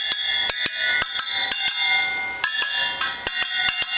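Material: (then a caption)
Steel. Steel spokes on a restored Suzuki GT250 rear wheel are tapped one after another with a homemade tool after re-spoking and truing. Each tap gives a bright, high-pitched metallic ring that sustains briefly between strikes. The ring shows the spokes are tight and within tolerance.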